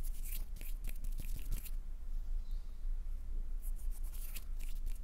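Fingernails tap and scratch the glittery surface of a small, solid, pink glitter-coated wax number 9 candle. Bright, crisp scratching bursts cluster in the first second and a half, pause, then return near the end over a steady low hum.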